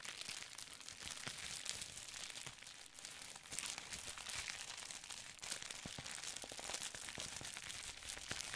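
A folded sheet of clear plastic bubble wrap is crinkled and scratched with fingertips. The result is a steady, quiet stream of bright, dense crackling and rustling with sharp little snaps scattered throughout and almost no low end.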